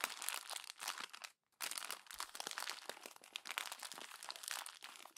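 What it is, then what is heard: Glossy magazine paper being crumpled. A fist crumples the thin glossy pages of a paper magazine on a table, producing dense, bright crinkling and crackling. The sound runs continuously with a brief silence of about a quarter second near 1.4 seconds, then resumes with sharp, quick-fading crunches.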